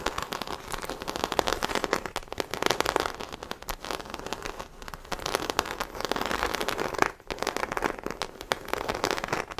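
Long acrylic nails scratch the embossed surface of a small black croc-embossed faux leather shoulder bag held beside the mic. The result is a dense, continuous crackle of rapid dry clicks and scrapes, bright and broadband with little low end. It comes in uneven waves of intensity, with a brief dip near the seven-second mark.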